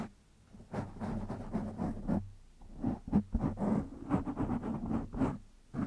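Fingertips of one hand scratch a black foam windscreen on a microphone, making close, irregular bursts of rough, rustling scratches. Each burst carries a muffled low rumble with a steady hum near 200 Hz, and the scratches stop short between strokes with brief quiet gaps.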